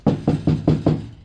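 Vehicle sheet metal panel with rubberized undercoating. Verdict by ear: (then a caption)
Hollow. Five knocks on the inside of a vehicle sheet-metal panel already sprayed with rubberized undercoating. The knocks are low and dull with a short hollow ring. The panel still sounds hollow and needs sound deadener.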